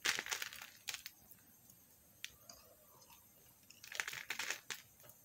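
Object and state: Soap bar shaved with a knife.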